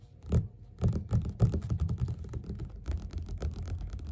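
Fingerpads of both hands tap quickly on the cover of a yellow glossy paperback of Othello, lying flat, solid and closed, on a table. It makes rapid, irregular, soft low thuds with very short decay and a faint bright tick on some taps, starting in sparse bursts and then running into a dense, steady patter.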